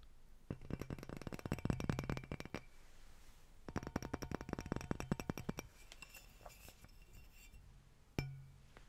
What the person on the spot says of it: Incandescent Lightbulb Tapping (Glass tapping and vibrations)